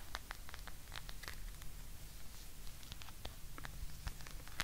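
A hand-sized blue rubber massage ball covered in rounded spikes, likely hollow, is held near the mic while long nails scratch and tap its nubby surface. Quiet, scattered bright clicks and scratchy rustles pop out over a steady low hum throughout.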